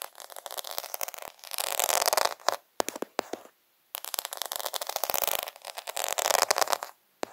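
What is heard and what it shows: Fingers rub and scratch over the beads of a plastic faux pearl sticker sheet, a plastic half-pearl sheet, held close to the microphone. Dense, bright crackling scrapes come in two long bursts, with rapid sharp clicks in between. Short silent gaps separate them, and there is no low end.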